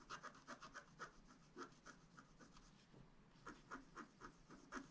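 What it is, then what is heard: Scratch-art paper card being scratched. A wooden stylus scratches small detail strokes into a thin black-coated scratch-art card lying flat. Short, bright scratching strokes repeat at an irregular, brisk pace, each a quick dry rasp with a faint low scrape beneath, separated by brief quiet gaps.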